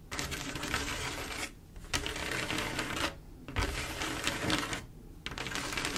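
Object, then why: Mirror-glass mosaic tile panel with grout. Long acrylic nails tap and trace across a flat panel of silver mirror-glass mosaic tiles with grout, making dense, rapid clicking and scratching. Bursts of busy, bright clatter are broken by three short, quieter pauses.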